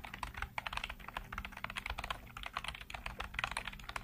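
Fingertips type continuously on a black plastic computer keyboard with hollow keycaps, producing a rapid stream of about twenty short, bright clacks. Each keystroke snaps off almost instantly over a faint low thump, leaving a steady, even run of crisp plastic taps.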